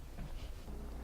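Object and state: Nothing is struck.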